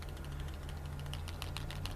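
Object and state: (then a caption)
Paint bottle with a loose nut rattling inside. A plastic bottle of Vallejo Model Air acrylic airbrush paint with a metal nut dropped inside is held by the neck and shaken back and forth. Quick, light clicking rattles of the nut sound over a steady low hum. The nut moves freely, swirling and scraping the settled pigment off the bottom so it mixes into the paint.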